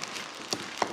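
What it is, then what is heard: Undercooked sugar-cooked coffee lump, not brittle. A lump of cooled, sugar-cooked coffee is knocked to test whether it is done, giving short, dull taps with a brief bright click and almost no ring. The lump does not turn brittle or shatter, showing it is not yet cooked enough.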